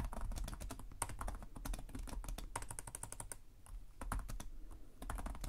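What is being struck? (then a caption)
Plastic laptop keyboard. Both hands type steadily with their fingertips on a black laptop's low-profile plastic chiclet keys. A rapid, continuous stream of soft clicks is heard, each with a dull low thump under a brief bright tick that stops almost instantly.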